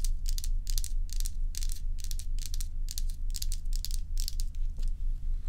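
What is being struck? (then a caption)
Block of ice. Long acrylic nails on both hands scratch across a large, solid ice dome block. Bright, rasping scrape bursts repeat at a quick, fairly even pace of about two per second over a steady low hum.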